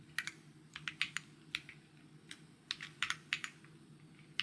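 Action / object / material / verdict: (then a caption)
tap / mechanical keyboard with plastic keycaps / plastic / none. Fingertips type on a white mechanical keyboard with plastic keycaps, producing about sixteen crisp, bright clicks in an irregular rhythm. Each tap is short with almost no ring, set over a faint low hum.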